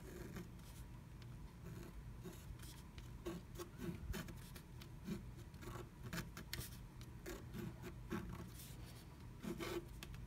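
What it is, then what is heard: Scratch art paper being scratched. A wooden stylus scratches outline lines into flat black scratch art paper inside a diamond-shaped cut-out of a blue plastic stencil. Soft, dry scratching strokes come in short, bright bursts over a steady low hum. The sound stays quiet throughout.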